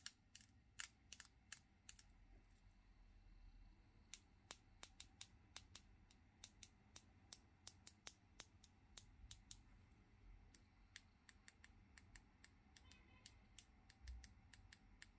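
Long, thin, hard natural fingernails painted metallic silver tap and click against the nails of the other hand over a wooden table. A quiet, irregular series of bright, sharp clicks with almost no ring sits over a faint low background rumble.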